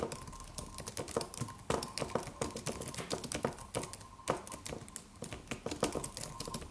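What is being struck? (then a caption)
Aluminum computer keyboard with plastic keys. A slim silver aluminum computer keyboard with white plastic keys and a solid low-profile body is typed on with the fingertips of both hands. Quick, dry clicking taps come in uneven bursts, each with a short, bright attack that dies away almost at once over a faint steady hum.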